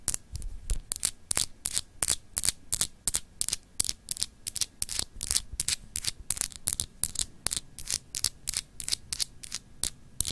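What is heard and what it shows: Long acrylic nails scratch a palm-sized solid glass globe paperweight with etched continents. The result is a rapid, uneven series of short, bright scratching strokes, each dying away almost instantly, over a faint low hum.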